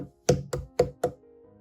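A watermelon is tapped four times in quick succession, each tap giving a short, hollow knock with a clear tone around 500 Hz that dies away quickly. A faint steady hum continues after the last tap.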